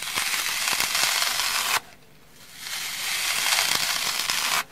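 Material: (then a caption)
Foam. A dry, hand-sized rectangular kitchen sponge with a soft orange foam layer and a black abrasive scouring pad is rubbed with fingertips and long nails on the scouring side. This makes a bright, hissing, crackly scratching. It stops briefly near the middle and then picks up again before cutting off.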